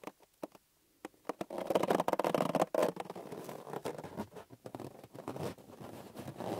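Hands squeeze and rub a small, hollow, green inflated latex rubber balloon with a knotless neck. A few sparse soft taps give way to a continuous squeaky, rubbery rubbing with a mid-pitched whine, broken by quick scratchy pops and squeaks until the end.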